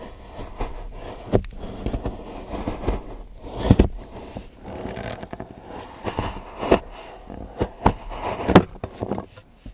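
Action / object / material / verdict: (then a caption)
scrape / milk chocolate bar and steel knife / chocolate / none. A large steel knife shaves and scrapes curls from the edge of a solid milk chocolate bar, partly in gold foil and resting on a patterned board, while fingertips hold the bar. Soft, low scraping rasps and crackles are heard, broken by short, sharp scrape accents, with very little high content.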